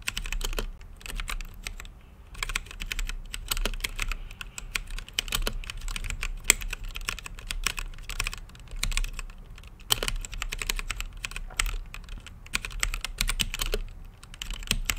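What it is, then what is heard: Mechanical keyboard typing. Fingertips type steadily on an RGB-lit mechanical keyboard with plastic keycaps and a clear acrylic case. Rapid, dense key presses make short, bright clacks with no ring, in uneven bursts over a faint low hum.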